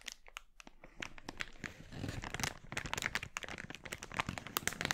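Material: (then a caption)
Polyethylene. An empty, glossy red, thin polyethylene mailer bag is crumpled and then opened out in both hands, with fingers crinkling and rustling the plastic. A dense run of sharp, bright crackles and crinkles sits over a softer rustling bed, each snap dying away almost instantly.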